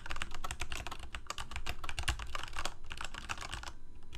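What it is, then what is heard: Plastic mechanical keyboard. Fingertips of both hands rapidly type on a full-size Corsair mechanical keyboard with plastic keycaps on mechanical switches, a hollow plastic case and blue backlight, resting on a desk. A fast, uneven stream of sharp clacks with bright key clicks over a low, hollow thud fills the clip, each keystroke dying away almost instantly.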